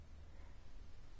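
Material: Nothing is struck.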